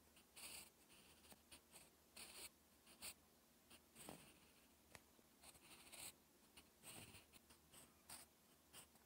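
A sharpened wooden graphite pencil held in the fingers writes on a flat sheet of lined, textured writing paper. Short, bright scratching strokes come in quick bursts with quiet gaps between them, over a faint steady low hum.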